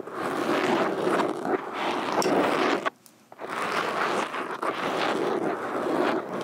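Metal fingerpicks on both hands tap and scratch the surface of a black foam microphone windscreen. The result is a dense, continuous scratchy rustle with a mid-range body and some brighter crackle. It stops for about half a second near the middle, then resumes just as busily.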